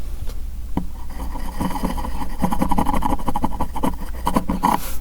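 A bookbinding bone folder made of real cow bone, unlike ceramic or hard-plastic folders, is run and scraped along a surface to crease paper. Quick, uneven scraping strokes rasp over a steady low rumble, with a faint tone near 1 kHz.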